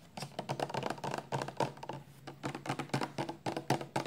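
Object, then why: Plastic shampoo bottle. A 400 mL clear plastic shampoo bottle, full of amber liquid and held sideways in both hands, is tapped quickly with long nails. The result is a rapid, uneven patter of short, crisp plastic clicks with a faint low hollow tone beneath them, each tap dying away almost at once.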